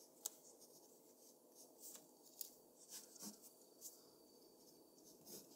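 A mechanical pencil scratches short, rapid strokes across a flat white drawing paper sheet resting on a desk. Six quiet, bright, dry scratches stand out above a soft, continuous hiss of paper rubbing.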